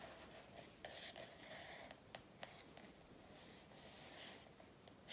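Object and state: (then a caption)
Paper softcover workbook. Long natural nails and fingertips tap and scratch the glossy softcover of a large, thin, solid paper practice workbook lying on a wooden table, making quiet, bright scratching with sharp clicking taps. Partway through, the book is lifted and flipped over, adding rustling page and cover handling. No whispering is heard.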